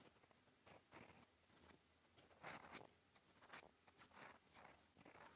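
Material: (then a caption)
Paper. A steel fountain pen nib scratches writing strokes across a flat, cream, lined paper notebook page. Quiet, dry, scratchy bursts with a bright, hissy edge come in short uneven strokes separated by brief pauses.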